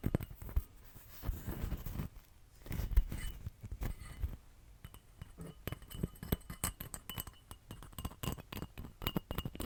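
A painted, glittery Christmas ornament that is shedding glitter is tapped repeatedly, giving quick, clinky, glassy taps with very short ring and a soft low thump under them.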